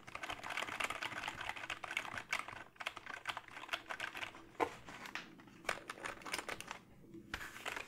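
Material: Plastic.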